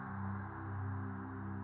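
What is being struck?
Nothing is struck.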